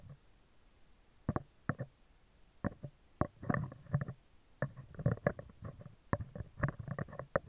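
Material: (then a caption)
Steel mesh. Metal tweezers scratch and tap the top of a hollow, round steel wire-mesh microphone grille. The result is a quiet, irregular series of short, dry clicks and scrapes with low, thumping body and almost no ring. Some contacts blur into brief rustling scratches between sharper taps.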